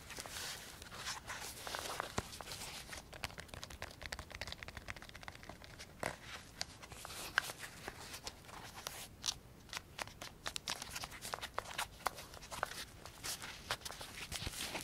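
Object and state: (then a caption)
Nylon velcro pouch. Fingertips tap and scratch a small, hollow black nylon Pocket Radar pouch and handle its velcro flap while turning it. A steady stream of quiet, bright crinkling, scratchy rustles and short dry taps is heard, with a few sharper clicks standing out.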